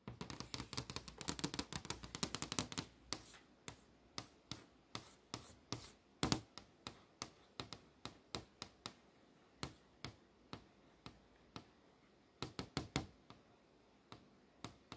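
Long nails tap on the posters near the edge of a flat glass touchscreen display. A rapid flurry of bright, dry clicks fills the first few seconds, then slows to single sharp taps spaced about half a second apart, with brief quick clusters near the end. Each tap dies away almost instantly against a quiet background.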